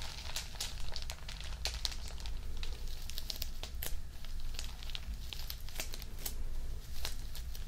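A photo album page with a clear plastic sleeve is held and tilted while fingertips and nails press, rub and crinkle the plastic film. The result is dense, continuous crinkling broken by sharp, bright crackles and snaps, all over a steady low rumble.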